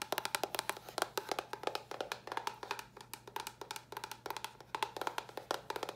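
A small, hollow white cardboard box is tapped quickly with long nails. The result is a fast, continuous stream of short, dry, hollow clicks with a woody knock around 730 Hz and bright tips, each dying away almost instantly. A faint, steady low hum runs underneath.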